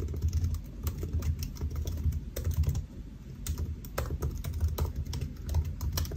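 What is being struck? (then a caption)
Aluminium laptop keyboard with plastic keys. Fingertips of both hands type on a solid silver aluminium laptop keyboard with black plastic keys, resting on a white desk. A steady run of quick, light key taps clicks over a low, soft thumping body. Each tap dies away almost at once.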